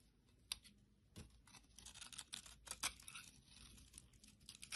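A utility blade scrapes and carves crumbly pieces off a solid teal bar soap held in the hand. Quiet, bright scratchy crackles come in short, dry bursts, with a few sharper scrapes standing out and almost no low end.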